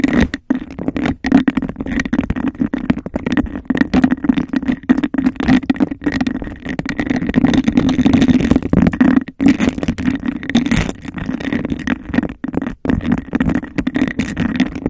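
Long nails tap and scratch fast and aggressively on a clear, bubble-textured, hollow, empty glass cup placed over the microphone. The result is a dense, continuous rattle of clicks and scrapes with a hollow, boomy resonance around 260 Hz and a few brief pauses.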